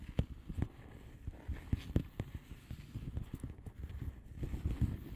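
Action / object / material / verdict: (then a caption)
tap / padded envelope with plastic bubble wrap / plastic / none. Long polished nails of both hands tap and scratch the bubbles on the plastic bubble wrap surface of a flat padded envelope. The sound is a quiet, uneven run of soft, dull, low-pitched taps that stop almost instantly, with faint scratchy rustling between them.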